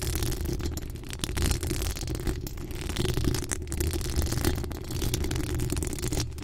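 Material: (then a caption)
Steel mesh. Long acrylic nails scratch the hollow steel mesh grille of a pink decorated microphone. The result is a steady, dense scratching rasp, mostly a deep rumbling low end, with short dips where the strokes briefly pause.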